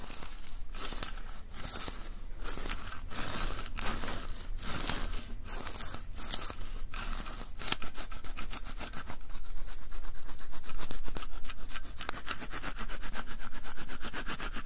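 A white plastic lint roller with a sticky paper roll is held upright while flat palms press and rub against the adhesive surface and pull away. Bright, crackling sticky peels come in separate bursts at first, then turn into a faster, denser run of peeling crackles over a steady low hum.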